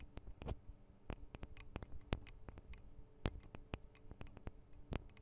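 Long acrylic nails tap on the thin metal microphone guard arms and capsules of a Tascam DR-40 recorder, producing quick, irregular, dry ticks. Each tap is a short, bright click with almost no ring, over a steady low hum.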